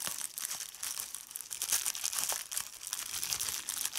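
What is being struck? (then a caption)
Plastic bubble wrap sheet. A hand with red nails crumples a large sheet of clear plastic bubble wrap and pops its bubbles. The result is a continuous bright, crackling crinkle with many quick sharp pops and snaps, almost all high in pitch with no low end.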